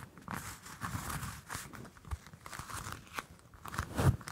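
A whole orange held close to the mics has its peel scratched and tapped with long nails. The result is soft, dry crackling and scraping with low, thumpy taps, and the loudest tap comes near the end.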